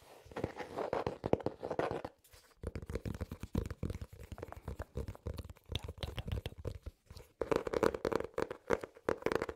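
A small notebook with an ornate patterned hard cover and an elastic band is tapped and scratched with fingernails and fingertips. Rapid, dry taps with a hollow tone around 470 Hz blend with soft scratching, broken by a short pause near the two-second mark. A denser, louder run of tapping comes near the end.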